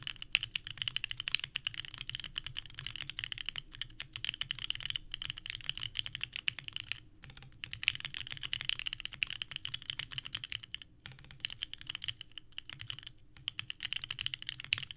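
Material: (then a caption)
Plastic. A small 65% mechanical keyboard with a purple metal case and white ABS plastic keycaps, sitting on a desk mat, is typed on continuously with the fingertips of both hands. The result is a fast, steady stream of bright, sharp clacks with very short decay, broken by a few brief pauses.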